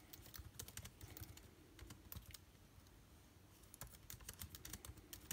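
Fingertips of both hands type on a backlit MacBook Air keyboard with plastic keys. Quick, soft clicks arrive in uneven bursts, each a short bright tap over a low thud. The typing slows to near silence in the middle before picking back up.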